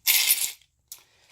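Bluish copper-colored metal buttons, received in the mail, are set down and clinked together. There are two bright, high-pitched metallic clinks: a longer jingling burst followed by a shorter one with a brief ring.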